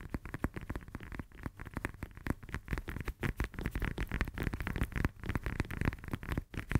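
Long nails rapidly tap and scratch the peel of a whole, solid, fresh lemon held in both hands. The result is a dense run of quick, dry, muffled taps mixed with scratchy rustling, heavy in low tones. Each tap dies away almost at once.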